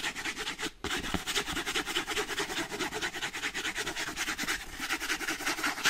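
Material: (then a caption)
Cardboard. Fingertips and painted nails rub and scratch a small closed kraft-paper cardboard box that is hollow with contents inside. The result is a quick, uneven run of dry, bright, papery scratching strokes with little low end, and a brief pause near the one-second mark.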